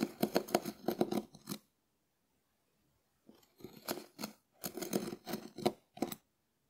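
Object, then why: Dried konjac sponge scraped with a wooden spoon. A small wooden spoon scratches a hard, dried, hand-sized, shell-shaped konjac sponge, making crisp, dry rasping strokes in quick bursts. A run of scratches is followed by a pause of about a second and a half, then more bursts of scraping that carry a bright, gritty edge.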